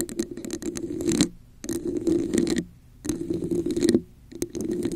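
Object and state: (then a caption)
Textured plastic cup scratched. Long acrylic nails tap and scratch a hollow red plastic cup with a raised diamond texture held over a microphone. Bursts of dense, crackling scratching with a hollow mid-range ring alternate with short quiet gaps, in four passes.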